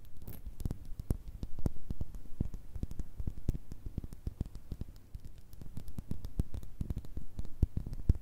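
Long red nails and fingertips tap rapidly on a small clear glass jar with a cork stopper that holds small pink and metallic items. The taps are short, dry and closely spaced, with a dull, low-heavy body and brief bright clicks, continuing steadily for about eight seconds.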